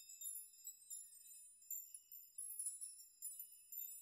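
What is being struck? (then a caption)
Hanging metal nail chime. Hands sweep through the strands of a hanging metal nail chime, and the metal nails jingle against each other. The result is a soft, bright, high tinkling that comes in irregular bursts, with each clink dying away quickly and almost nothing in the low range.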